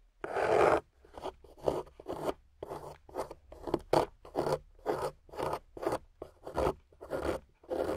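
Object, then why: Clay block scraped with a metal carving tool. A metal carving tool scrapes and carves a pointed, solid, water-soaked clay block with a golden base, producing crumbly shavings. The result is a steady run of short, gritty, crunchy scraping strokes, each a brief rasp with silent gaps between, centered in the midrange with little low end.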